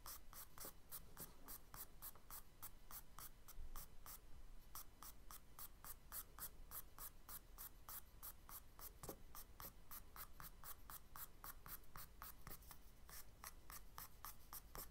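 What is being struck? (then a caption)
Charcoal stick on kraft paper sketchbook page. A charcoal stick is drawn across the surface of a kraft paper page in a spiral sketchbook, making quiet, scratchy strokes. The short, bright rasps repeat in a quick, steady rhythm, with a brief lull about a third of the way in, over a faint low hum.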